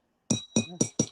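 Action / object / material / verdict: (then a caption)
tap / glass drinking cup / glass / real. A real glass cup, the kind served in business class, is tapped four times. Each tap gives a short clink with a bright ringing overtone, and the ring marks the cup as genuine glass.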